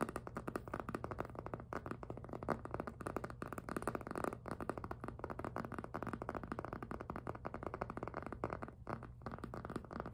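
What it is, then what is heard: PVC jelly handbag, squeaky grip. Fingertips grip and squeak across the rubbery front of a hollow pink jelly PVC handbag, giving a dense run of rapid squeaks and soft taps. The sound is mostly low and mid-range with almost no bright content, and each squeak or tap stops almost instantly with no ring.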